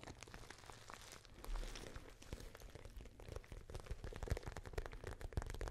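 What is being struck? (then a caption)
Glossy patent vinyl pouch. Long painted nails tap and scratch the surface of a small, pale pink glossy patent vinyl (plastic) pouch with a zip and a small metal logo plate, held up in front of the face. The thin, hollow pouch gives a dense run of quick, dry crinkling taps and scratchy clicks over a low, soft thumping body.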